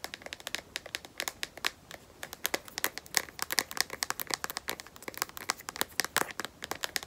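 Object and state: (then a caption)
Phone in a plastic case. A smartphone in a black matte, rubberized plastic case, held edge-up and solid, is tapped with long nails. It makes a rapid, irregular stream of dozens of sharp, dry clicks with a bright tone centered near 2 kHz. The clicks decay almost instantly and have almost no low end.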